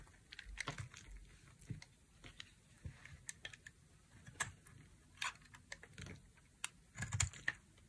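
A utility knife blade carves a solid, dry pink bar soap with a brown coating, making a series of short, crisp scraping and crackling cuts at irregular intervals. Each cut is bright with a soft low thud underneath and dies away almost at once, with a few louder, denser cuts near the end.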